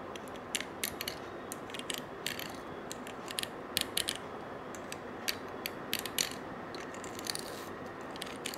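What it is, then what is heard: Coiled metal bangle. A stiff-bristled brush scrubs the coils of a small gold-colored coiled wire bangle held in one hand. A steady, dense scratching hiss runs throughout, broken by quick, bright, ratchet-like clicks and ticks as the bristles catch on the wire coils. Each click dies away almost instantly.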